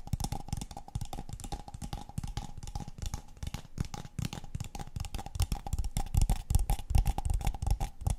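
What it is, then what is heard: Empty paper cup tapped and scratched with fingernails. A tall, empty, hollow brown kraft paper cup is held in the hands and tapped and scratched on its walls and base with long painted fingernails. Quick, irregular taps give dull, hollow thumps and a dry scratchy texture, with a faint steady tone running underneath. The tapping grows louder and more forceful toward the end.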